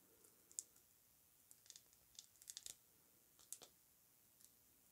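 Long nails tap a filled Amouage Guidance pink lacquered glass perfume bottle with a ribbed cap as it is held and turned. About ten quiet, bright, high-pitched clicks come in irregular bursts, each dying away almost instantly.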